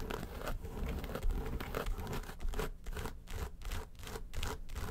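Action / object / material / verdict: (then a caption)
scrape / faux leather makeup case / faux leather / none. Long white stiletto nails scratch and tap the lid of a small, hollow, closed makeup case made of yellow textured faux leather with a handle. The sound is a steady, dull scratching with soft low thumps, breaking into a quicker rhythmic pattern of short strokes in the second half.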